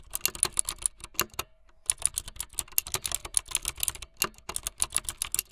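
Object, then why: Plastic mechanical keyboard keys. Fingertips with long light-blue nails type fast on a full-size plastic mechanical keyboard with white, blue and yellow plastic keycaps and a blue backlit frame. A rapid stream of bright, sharp clacks and clicks sounds, dry with no ring, broken by a brief pause near the start before the typing resumes just as quickly.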